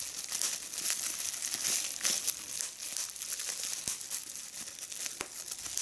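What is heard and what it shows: A small hollow piece of clear, air-filled plastic bubble wrap is held in both hands while its bubbles are pinched and popped with fingertips and long red nails. Steady bright crinkling runs throughout, broken by irregular short, sharp pops and clicks. The sound stays thin and high, with almost no low end.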